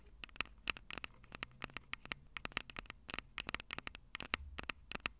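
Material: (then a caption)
Metal mesh. Long purple acrylic nails tap and scratch the two small crossed metal mesh mic capsules on the hollow plastic body of a Tascam DR-05 handheld recorder. A rapid, irregular series of sharp, bright clicks with a metallic ring near 2.7 kHz sits over a soft scratching hiss. Each tap dies away almost instantly.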